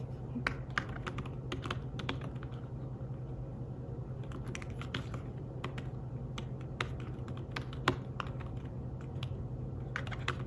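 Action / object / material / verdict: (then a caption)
tap / fabric-covered tablet keyboard / fabric / none. Fingertips type rapidly on the keys of a slim fabric-covered tablet keyboard, making soft, muffled taps with brief bright clicks over a steady low hum. The keystrokes come in quick irregular bursts and fade almost instantly.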